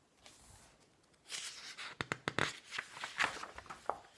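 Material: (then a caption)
Coated paper. Fingertips and palms rub across the thin coated-paper pages of a large open glossy magazine lying flat on a wooden table, then flip them by hand. After a quiet start, soft broadband rustling swishes build, broken by several sharp, crisp paper snaps and crackles with a bright edge that die away almost instantly.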